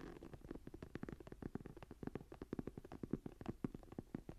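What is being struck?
Embossed leather journal cover.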